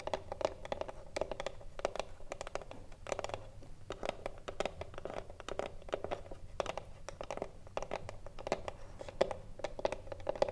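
A hollow wooden cigarillo box stands upright while long nails tap and scratch along its top edge and front. The result is a steady stream of quick, dry taps over soft scratching, with a hollow mid-range tone ringing faintly through the box. The taps are many and closely spaced, each dying away almost at once.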